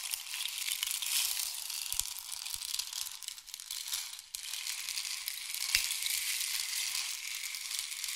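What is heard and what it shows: A long, hollow, painted wooden or bamboo rain stick is held upright and diagonal, then tilted so the pellets inside pour down its length. This makes a steady, bright, hissing patter like falling rain, with almost no low end. The sound dips briefly around the middle before the pouring picks up again and continues to the end.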